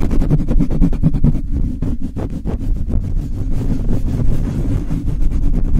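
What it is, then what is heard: Metal mesh microphone grille being rubbed. The bare black metal mesh grille of a Blue Yeti microphone is rubbed fast with the palms and fingertips, with some nail contact. The result is a dense, continuous low rumbling roar made of rapid scrubbing strokes, with almost all the energy below 200 Hz and little high-end content.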